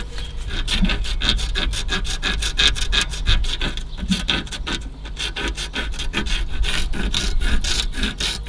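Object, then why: Aluminium car AC condenser top rail. Fingernails scratch and rub along the corroded, crusty, flaking top rail of an aluminium car AC condenser. The result is a steady run of quick, dry rasping strokes with a bright, gritty edge over a low rumble.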